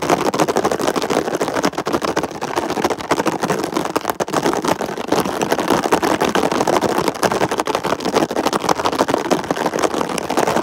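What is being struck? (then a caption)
Ridged plastic container lid. Fingertips and short nails rapidly tap and scratch a ridged red plastic lid, likely the lid of a hollow storage box. A dense, continuous stream of quick plastic clicks and scrapes carries on for the whole clip, centred in the mid range with little low end.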